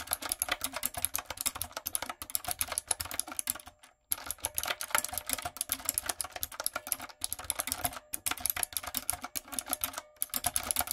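Fingertips and long nails type rapidly on a light-up, typewriter-style retro mechanical keyboard with round plastic keycaps. The result is a steady stream of bright, crisp clicks with very short decay, broken by brief pauses.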